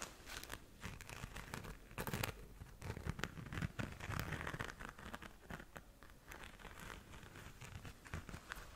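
Long nails scratch and tap the surface of a flat pink glitter-covered zip pouch. The result is a steady stream of dry, crinkly scratching and crackling, broken by quick sharp taps that fade almost instantly, with a soft low rumble underneath.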